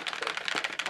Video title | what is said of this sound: Drakkar part 6: Painting the shields | might hear that rattling in there I dropped in some agitator glass balls to help shaking it